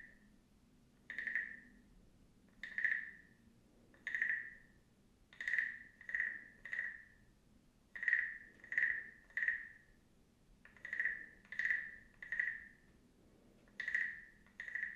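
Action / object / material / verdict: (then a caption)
scrape / carved wooden frog guiro / wood / none. A small hollow carved wooden frog guiro has its ridged back scraped with a wooden stick held in the other hand. About fifteen short, separate croaking rasps are heard, each a bright, hollow, woody tone centred near 1.8 kHz with a quick ratcheting edge. They come singly and in quick groups of two or three, with brief quiet gaps between them.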